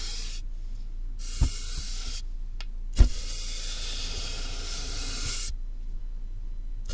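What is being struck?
Closed cardboard box.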